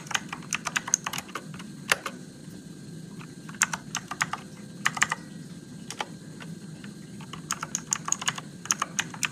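Fingertips type on a Motospeed RGB-backlit mechanical keyboard with plastic keycaps and blue switches in a dim room. About thirty sharp, bright clicks come in quick bursts with short pauses, each dying away almost at once over a steady low hum.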